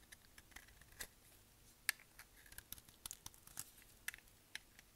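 A dark translucent, palm-sized bar of dry solid soap is held in the hand and shaved with a utility knife blade with a pink handle, with other soap bars and shavings lying nearby. Quiet, irregular crisp scraping and cutting clicks are heard as flakes come off. The sound is bright and dry, with sharp ticks and very little ring.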